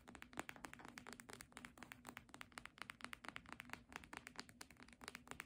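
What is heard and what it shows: Long nails rapidly tap and scratch the front cover of a red, embossed faux-leather hardcover book that is held up and tilted. Dozens of quick, dry, crisp clicks with bright edges come over a faint low hum. The taps are quiet and stop at once with no ring.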